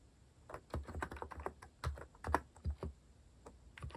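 Fingertips type steadily on a compact mechanical keyboard with a white plastic case and cat-themed plastic keycaps. Short, clacky keystrokes land in quick irregular bursts, with a thocky low body and a brief click near 950 Hz, and almost no ring after each press.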